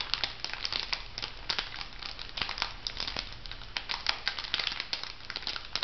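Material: Plastic foil.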